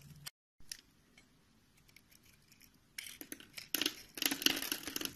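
A green-handled utility knife scrapes and cuts across a solid rectangular beige bar of soap held in the palm and pre-scored into a grid, shedding flakes. Quiet, crisp scraping builds into louder, bright crackly cuts toward the end.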